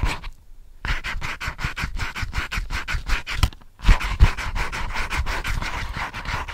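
Fingertips and nails scratch and rub quickly across the front page of a small spiral-bound notepad of lined white paper with "ASMR" written on it. The result is a fast, uneven run of short, dry, papery scratches with a bright hiss, broken by two brief pauses.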